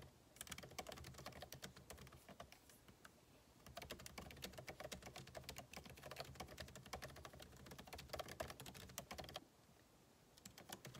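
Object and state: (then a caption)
Laptop keyboard, plastic keys. Fingertips of both hands type rapid key taps on a solid, backlit MacBook Pro keyboard with plastic keycaps in an aluminum body, resting on a desk. Dense, crisp clicks with bright edges run in quick bursts, easing briefly around three seconds. A short pause follows near the nine-second mark before the typing resumes.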